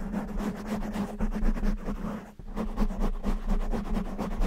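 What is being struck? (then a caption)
Foam microphone windscreen. A black foam windscreen covering a microphone is scratched with fingertips and short nails, mostly with both hands. The result is a dense, continuous, muffled crackling rustle with rapid repeated strokes, heavy in the low end. There is a brief dip in the middle before the scratching resumes.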